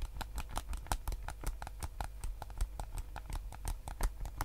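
Fingertips and nails tap and scratch the hollow hard plastic shell of a white PS5 DualSense controller held in both hands. The result is a rapid, irregular patter of short, dry clicks with a bright edge over a low, steady rumble.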